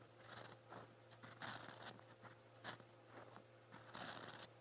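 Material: Paper.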